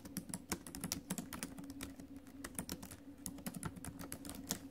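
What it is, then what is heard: Laptop keyboard with plastic keys. Fingertips and acrylic nails tap the plastic keys of a silver metal laptop while typing. A quiet, rapid stream of short, crisp clicks runs over a faint steady low hum. Each tap dies away almost instantly.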